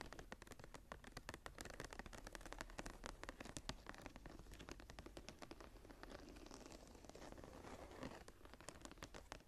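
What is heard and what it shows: Fingertips and nails scratch and tap the embossed cover of a closed, solid brown embossed leather journal with a blue stone inlay and a metal clasp. The result is a quiet, steady stream of rapid, dry scratches and soft taps with a low, dull body and brief bright scraping edges that die away almost instantly.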